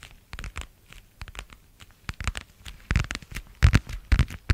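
A thin, flat, light-blue marbled plastic passport cover is held in both hands and tapped with long nails. The result is a rapid, irregular run of short, dry clicks and scratchy, crinkly taps with soft low thumps underneath, growing louder toward the end.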